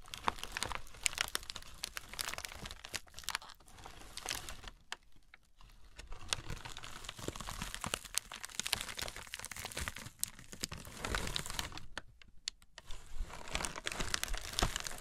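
A large crumpled sheet of light tissue paper lies flat on a burlap table while fingertips and long red nails scratch, press and crinkle it. The result is a continuous stream of dense, dry crackles and crisp rustles with bright, sharp clicks, easing into quieter stretches before building again.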